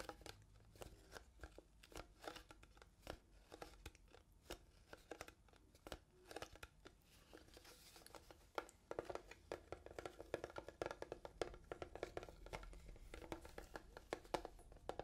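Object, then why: Small hollow plastic box. A small, transparent, hollow plastic box that appears empty is tapped with fingernails and fingertips close to the microphones. Many quick, dry clicks and taps with a hollow midrange tone die away almost instantly. The tapping is quiet and sparse at first, then becomes denser and louder in the second half.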